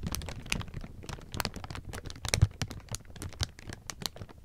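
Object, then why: Thin clear plastic film. Hands grab, pat and rub a pile of thin, clear plastic sheeting, producing a steady stream of crisp crinkles and rustles. Dense, short bursts of bright crackle sit over a low, soft handling rumble, with one louder crunch near the middle.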